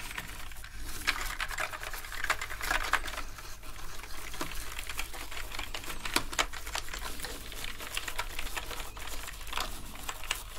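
Two toothbrushes scrub foam-covered keycaps on a black plastic gaming keyboard, making a steady wet, bristly scrubbing with frequent small clicks and taps. A low hum runs underneath, and the texture stays busy and even throughout.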